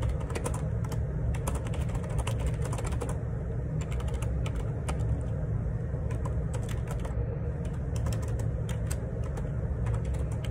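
Fingertips type fast on the plastic keycaps of a black plastic Perixx Periboard 612 wireless Bluetooth split ergonomic keyboard resting on a grey table. A dense, steady run of crisp, bright key taps plays over a constant low hum.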